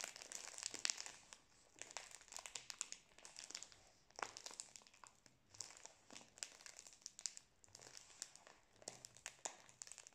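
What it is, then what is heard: Plastic-wrapped biscuit roll. A full cylindrical Prince biscuit pack in plastic film is held horizontally in both hands near the mic while fingers squeeze and rub the wrapper. It gives a bright, dense crinkling with sharp crackles, coming in bursts separated by brief quieter pauses.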